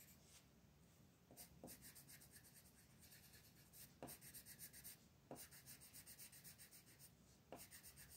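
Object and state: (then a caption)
Colored pencil shading on paper. A purple colored pencil rubs across a flat paper coloring book page on a table, shading the lettering with steady strokes. Quiet, rhythmic scratchy strokes carry a bright rasp, broken by a few sharper taps of the pencil against the page.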